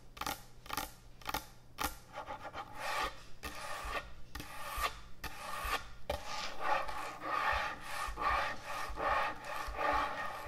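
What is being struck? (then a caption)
End-grain hardwood butcher block cutting board. Long nails scratch and rub across the surface of a large, thick, solid end-grain hardwood butcher block cutting board. A few quick, sharp raspy strokes at the start give way to a denser, continuous rubbing scratch with a bright, gritty texture. It carries a woody midrange tone and slight rhythmic swells.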